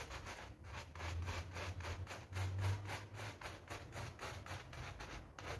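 A soapy pink PVC loop (vinyl coil) door mat lying on a tiled floor is scrubbed with a hand brush held in a green rubber glove. Rhythmic, wet bristle strokes rasp back and forth over a steady low rumble.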